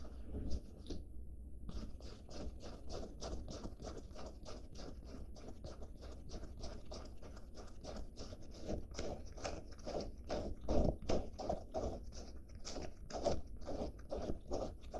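Long black-painted nails scratch quickly back and forth over the fabric and seams of a light-blue washed denim jacket held low. The result is a steady run of dry, rough scraping strokes, dull and low-heavy with little brightness, each one short and without ring.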